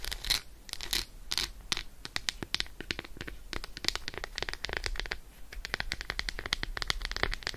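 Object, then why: Milk chocolate bar. Long acrylic nails rapidly tap and scratch the squares of an unwrapped Roshen milk chocolate bar, a solid slab held in the hand. Quick, dry clicks and short bright scratches follow one another in a dense, uneven stream, each sound dying away almost at once.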